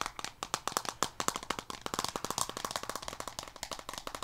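Long painted fingernails rapidly tap and scratch a small rectangular blue plastic card deck box with a textured leatherette-style surface, held in one hand with a card deck inside. About 35 quick, dry, clicky taps sound with a hollow ring near 1 kHz, each dying away almost at once, with little low end.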